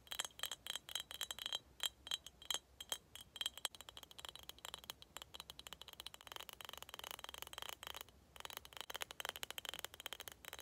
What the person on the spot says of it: tapping on skull cup (glass sounds)